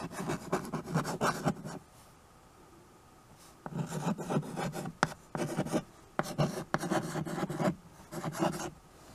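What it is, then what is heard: Chalk writing on a wood-framed chalkboard. White chalk held in the fingers writes on a small handheld chalkboard with a wooden frame, its strokes scratching and rasping across the board surface. A quick run of strokes is followed by a nearly two-second quiet pause, then several more bursts of dry, gritty scraping with short gaps between them.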